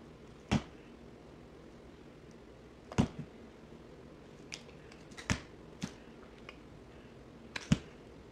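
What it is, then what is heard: Bar soap being carved. A box cutter blade carves and scrapes chunks from a solid orange bar soap held in the hand, played at double speed. About eleven short, crisp cutting snaps ring out with bright edges, spaced unevenly over a quiet, low background hiss, each dying away almost instantly.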